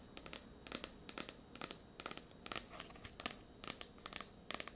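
Long nails scratch and tap the glossy card cover of a blue *Tears of a Tiger* paperback, a solid paper book. The result is quiet, irregular bursts of bright, crinkly scratching and short dry taps that die away almost at once.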